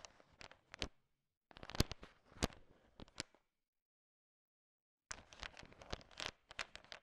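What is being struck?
Pile of sugar-shelled chocolate candies.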